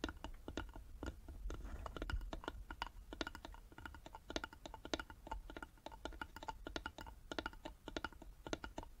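Long nails tap rapidly on the sides of a small, hollow, carved wooden box held in both hands. The result is a quick, steady stream of short, dry, clicky taps with a slight hollow knock and almost no ring. A faint low rumble sits underneath.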